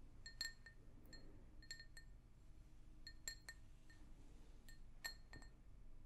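An empty, hollow pink glazed ceramic mug, held in both hands, is tapped with long nails. The taps produce quick, bright, high-pitched clinks that ring briefly over a soft low rumble.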